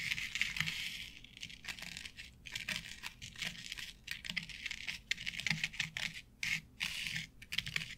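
Long nails tap rapidly on a flat board covered with synthetic turf, an artificial grass board. Each tap is a short, crisp, bright rustle, like brushing stiff plastic blades, with a faint soft thud underneath. The taps come in quick, uneven bursts with brief pauses between them.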